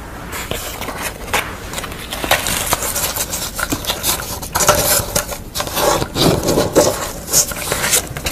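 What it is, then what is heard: Corrugated cardboard scratched by fingernails. Long nails scratch and rub the edges and surface of a pastel drawing on corrugated cardboard that is lifted up. The result is a steady run of crisp, bright scraping and rustling with quick, uneven bursts throughout.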